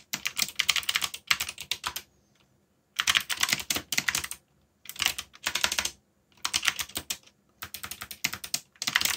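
Fingertips rapidly tap the keys of a backlit black plastic mechanical keyboard while typing, producing quick bright clacky clicks with almost no low end. The typing comes in bursts of a second or so separated by short silent pauses, and each keystroke stops sharply with no ring.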